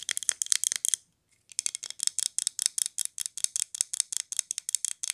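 A glazed ceramic polar bear figurine, held on its side, has its base and body tapped and scratched with long nails. Quick, bright, dry clicks and scrapes fall in rapid clusters, pause briefly around the one-second mark, then resume at a steady pace. Each tap is crisp and high with almost no ring and no low end.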